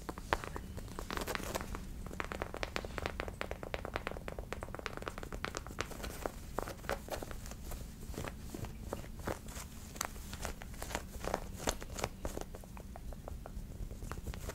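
A medium-sized, stuffed white and light-blue fabric plush of the Pokemon Vulpix is held in both hands and scratched and rubbed with long painted nails, then pressed toward a face at the end. Quiet, dense scratching with many short, dry crackles and soft fabric rustles runs throughout over a low, steady rumble.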